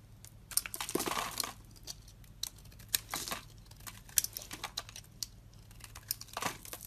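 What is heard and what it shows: A utility knife blade scrapes and cuts a solid, hand-sized, rounded white soap bar that is dry and crumbly, producing flakes. The result is a series of short, bright, crisp crackling scrapes and cuts, some drawn out into brief grinding strokes. They sound over a faint low steady hum.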